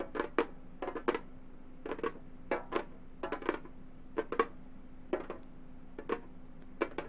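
Gold metal claws tap quickly on a hollow frame drum with a synthetic head, in short clustered bursts of clicky, dry strikes. Each tap has a mid-pitched body near 470 Hz and dies away almost at once, over a faint steady low hum.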